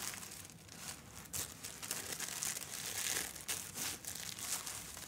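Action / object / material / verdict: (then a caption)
scrape / thin tissue paper / tissue paper / none. A bare hand and fingertips smooth, rub and crinkle a thin, crinkly tan tissue paper sewing pattern piece flat on a fabric-covered ironing board. The result is soft, continuous papery crinkling and rustling with louder swells, bright and airy with almost no low end.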